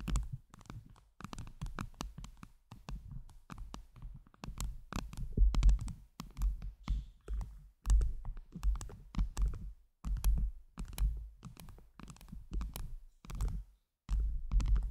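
Long jeweled nails tap and scratch a round microphone head covered with blue acrylic heart gems. The result is a dense run of quick, muffled, bass-heavy thumps and rough scratching, with only a few brief pauses between bursts.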